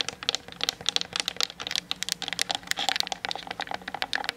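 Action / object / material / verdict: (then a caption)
tap / plastic DSLR camera body tapped with fingernails / plastic / none. Long nails tap quickly on the sides and top of a hollow plastic Canon DSLR body mounted on a tripod, picked up by the camera's built-in mic. The rapid, irregular taps are dry, bright clicks with almost no low end, each dying away almost instantly, like fast typing.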